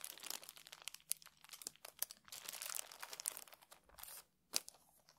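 Fingertips tap and scratch across the green card cover of a small, worn paperback book, its paper page block solid and closed, lying flat on a felt table. Dense, bright, crackly scratches and quick dry taps come in rapid bursts with almost no low end, followed by a steady scrape, a brief silence, and one sharp tap before softer scratching trails off.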